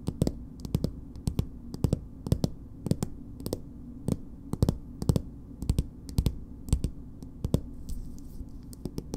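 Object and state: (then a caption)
Plastic cosmetic tube tapped with nails. A small, soft plastic BB cream tube with a purple plastic cap is held in hand and tapped and scratched with long acrylic nails. The result is a run of short, dry clicking taps, some in quick pairs, with bright crisp edges over a low, steady rumble and no ring after each hit.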